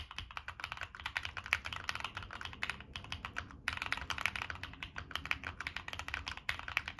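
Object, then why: Mechanical keyboard with plastic keycaps and metal case. Fingertips type steadily on a Monsgeek M1 mechanical keyboard with NK Cream switches, a dark metal case and purple and black plastic keycaps. The result is a fast run of short, bright, crisp clacks with little low end, broken by one brief pause midway before the typing picks up again.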